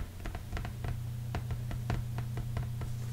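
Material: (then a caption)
Cardboard. Fingertips of both hands tap quickly across the surface of a large, flat, folded cardboard board-game board resting on a felt-covered table; the board is solid and thin. The taps are soft, dull and brief, scattered in an uneven run over a steady low hum that carries most of the sound.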